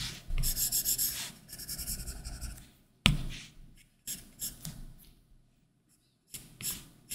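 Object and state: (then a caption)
Stylus on matte screen protector. A plastic Apple Pencil tip rubs and scratches strokes across a large iPad Pro's solid glass screen covered with a matte, textured plastic screen protector. Quick bursts of dry, bright, papery scratching come first, then a sharp tap followed by shorter, softer strokes separated by near-silent pauses.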